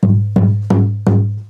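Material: Mahogany wood.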